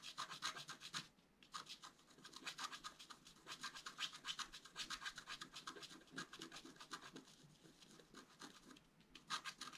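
A wooden stylus scratches and rubs the coating of a flat black-coated scratch art paper card, making quick, bright, raspy strokes in an uneven rhythm. The dry scratching comes in dense bursts with brief pauses near the start and end.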